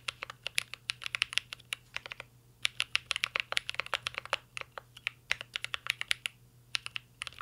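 Fingertips of both hands type continuously on a mint green Cyberboard R3 mechanical keyboard with a metal case and plastic keycaps. Rapid, bright, clicky keystrokes come in dense bursts with brief pauses, each strike short and sharp with almost no ring.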